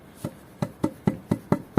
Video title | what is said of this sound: Building a Small House in 27 Days: Full Step-by-Step Construction | you can tell now that the foundations are solid you can hear that when tapping it with a piece of wood